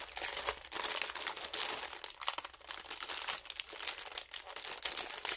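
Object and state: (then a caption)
Clear plastic bag being crinkled. A thin clear plastic film bag holding toy makeup pieces is held in both hands while the fingers crinkle and crumple it in place. The result is a steady stream of bright, crackly rustling, mostly high-pitched, with no low end and quick swells and dips in loudness.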